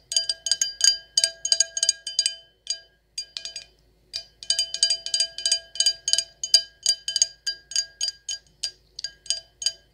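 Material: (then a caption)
Glass. An empty, hollow stemless wine glass with gold lettering is tapped with long acrylic nails in quick, irregular bursts, with a brief pause in the middle. Each tap is a sharp, bright click with a very short ring and a faint glassy tone underneath.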